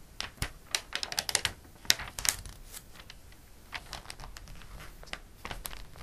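Fingertips and a flat palm rub and smooth the coated pages of an open glossy paper catalog. Bright, crisp paper rustles and short sharp ticks come in quick bursts, busiest in the first half, then settle into a softer, steady brushing with occasional sharper swipes.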